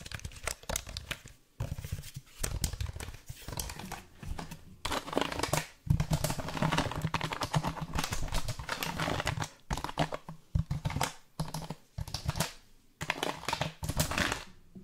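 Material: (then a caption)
Plastic. A black plastic computer keyboard is held up in the hands while fingertips and nails tap on its keys and plastic case. The result is a dense run of quick, dry clicks and clacks with a low thud underneath, broken by brief pauses.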